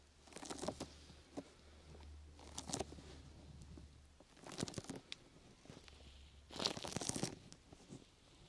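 Long nails scratch the top and side of a brown, open-weave sticky foam rubber grip mat draped over a microphone. The result is four bursts of bright, crackly rasping, like tearing and crinkling, separated by quieter moments over a faint low hum.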